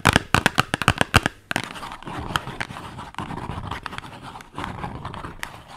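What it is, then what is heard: Cardboard soap box. Long nails tap a small, hollow, printed cardboard soap box held close, giving a quick run of sharp, dry taps. They then shift into continuous bright scratching and rasping across the box's surface for the rest of the clip.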